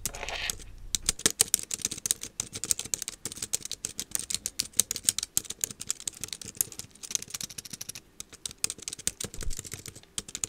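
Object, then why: Plastic computer keyboard. Both hands type quickly with fingertips and long nails on a small black plastic wireless keyboard lying on a desk. The result is a dense, steady stream of short, dry, bright clicks and taps with no ring, running evenly through the clip after a brief softer opening.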